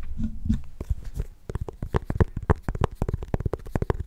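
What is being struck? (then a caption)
Small pumpkin rind. Fingernails tap and scratch the ribbed surface of a small, solid orange mini pumpkin held in both hands. A soft, muffled scratching gives way to a quick run of dull, low, dry taps with almost no ring.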